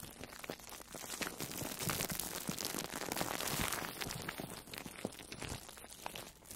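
A soft, orange-slice-shaped foam sponge wrapped in plastic food wrap is squeezed and rubbed with long manicured nails. It makes a dense, continuous run of crinkling and crunching with bright, crackly plastic texture and some soft, muffled squishes. The sound stays steady throughout, with no single dominant hit.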